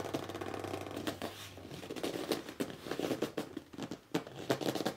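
Fingertips and short nails scratch and grip the front edge and top of a hollow red corrugated cardboard box lying flat, moving in quick strokes. The result is a dense run of dry, scratchy rubs and sharp, squeaky grips, mostly midrange with bright bursts.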